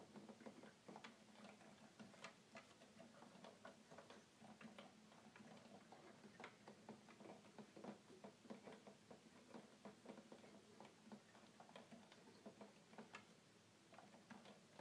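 Fingertips tap the plastic keys of a hollow red plastic toy keyboard in a steady run of quick, light, clicky taps. Each tap is brief and dry with a bright edge, over a faint steady low hum, all at a quiet level.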